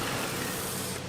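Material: Nothing is struck.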